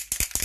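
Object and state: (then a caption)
Spray can with mixing ball, not empty. A foundation spray can, used almost daily for four months and still not empty, is shaken so the small mixing ball inside rattles against the can. Quick bright clinking rattles come in a short burst, and the rattle is normal, a sign to shake the can before use.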